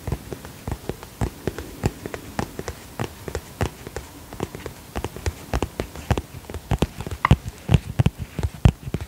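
Fingertips and nails tap rapidly on the surface of a holographic plastic cosmetic pouch. The result is a quick, uneven series of short, dry taps with a soft, low-heavy thud and almost no ring.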